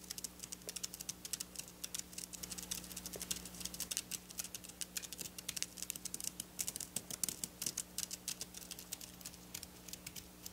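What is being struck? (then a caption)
Sequin fabric scratched and tapped with long nails. Long black nail tips tap and scratch across silver sequin fabric lying on a table. The result is a quiet, dense stream of rapid, bright, dry clicks and rattling scrapes with almost no ring, over a faint steady low hum.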